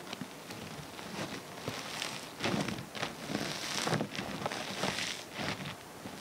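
Both hands squeeze and knead a large mound of multicolored foam bead slime on a wooden table. Dense, bright crackling and popping sounds come from the beads, with soft squishy swells as the fingers press in.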